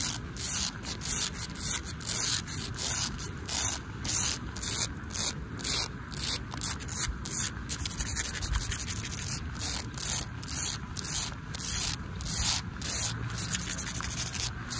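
Long acrylic nails and fingertips scratch and rub a large, flat, solid outdoor pavement of exposed aggregate concrete with embedded colored pebbles. The result is a steady run of short, rhythmic, bright gritty scraping strokes, with a faint wash of light rain underneath.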